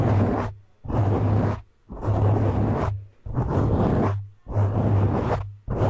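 A medium-size black soft porous foam windscreen over a hollow cover on a condenser microphone is scratched and gripped with both hands' fingertips and short nails. The result is six loud, rough, rushing bursts with a deep low rumble, each separated by a brief near-silent gap.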